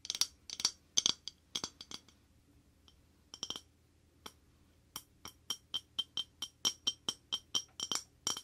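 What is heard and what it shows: An empty white square ceramic plate is held up and tapped quickly with short painted fingernails and fingertips. The result is a rapid string of short, bright clinks with almost no ring and a high, glassy tone. An irregular burst is followed by a brief pause and a few sparse taps, then a steadier, evenly spaced run.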